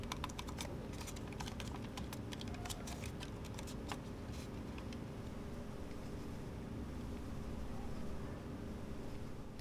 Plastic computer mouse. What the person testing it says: Walang squeaking sounds at walang umaalog.